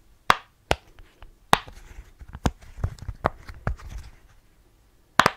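Fingertips press the hollow bubble domes of a rainbow rectangular silicone pop-it fidget toy held in both hands near the mic. Seven sharp, short pops stand out, with softer clicks and rustles between them, in a quiet, close setting.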